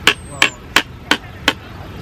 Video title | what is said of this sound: Loose Parts in ECE - S1 E9 | Even if you have any plastic plates, you can just tap them together.